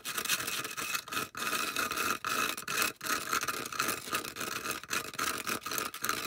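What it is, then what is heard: Styrofoam disc. Long acrylic nails rapidly scratch and tap along the side edge of a solid, round white polystyrene foam disc held edge-on. The result is a dense, continuous scraping rasp with a squeaky, bright edge, broken by short quick gaps and almost no low end.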